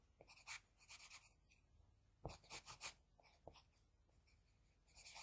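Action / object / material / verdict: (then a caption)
scrape / graphite pencil on drawing paper / paper / none. A wooden HB pencil's graphite tip makes quick, dense scratching strokes on flat white drawing paper while shading the eye area of a drawing. Bursts of bright, papery scratching come in uneven clusters, with quieter soft rubbing between them.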